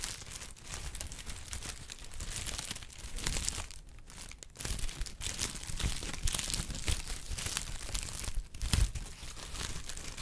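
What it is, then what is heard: Honeycomb kraft paper wrap. A hollow, flexible sheet of brown honeycomb-cut kraft packing paper is held in both hands and crinkled and squeezed with the fingertips. A steady stream of dry crinkling and bright crackling rides over a low, soft handling rumble, with a few sharper, louder crunches toward the middle and near the end.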